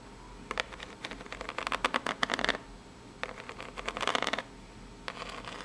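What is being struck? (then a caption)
Corrugated cardboard box. Long natural nails scratch and tap the ribbed surface of a small, hollow, brown corrugated cardboard box. They produce three bursts of quick, dry, bright scratching clicks separated by short pauses. The clicks are crisp with almost no low end and a faint steady hiss beneath.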